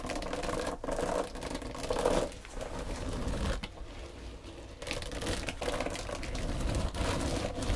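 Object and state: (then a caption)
Textured foam sponge. Long pointed dark green nails tap and scratch across a long, flat, pale pink textured foam back-buffer sponge, soft and solid, lying on a wooden table. The sound is a dense, muffled run of soft scratches and light taps, weighted toward the low end with a midrange rasp. It dips quieter for about a second in the middle before picking back up.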